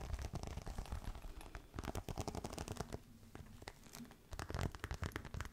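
Fingernails scratch and rub the textured scales of a green crocodile-embossed faux leather clutch held upright. The sound is a dense run of dry, crackly scratches with a low, thumpy body. It eases into a quieter, softer rubbing stretch near the middle before picking back up.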